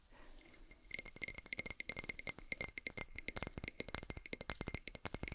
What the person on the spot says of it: 16:21 Glass Jar and Wood Lid Tapping